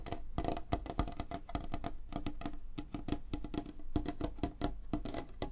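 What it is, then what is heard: Light wooden tabletop, rapid nail tapping. Fingernails tap rapidly on a flat, solid, light wooden tabletop. The result is a fast, uneven stream of short, dry clicks with a hollow woody knock around 300 Hz and almost no ring.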